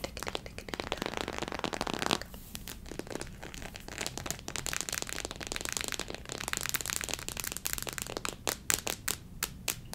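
Long nails tap and scratch the head and torso of a small white hollow plastic human figure model printed with acupuncture points. Dense, bright clicking and scratching runs throughout, with sharper distinct taps near the end.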